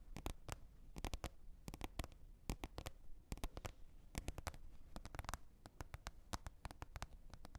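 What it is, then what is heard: Plastic container lid tapped with fingernails. Long red nails tap a green plastic container lid in a quick, uneven series of sharp clicky taps. Each tap is brief and bright and stops dead with no ring, over a quiet low rumble.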